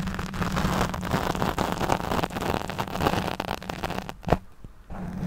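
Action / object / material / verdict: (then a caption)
scrape / foam microphone windscreen / foam / none. Long nails scratch the back and side of a black foam windscreen over a studio microphone, making a dense, close, crackling rustle with heavy low rumble and a steady low hum underneath. Near the end a sharp thump stands out, the scratching briefly drops away to near silence, then resumes.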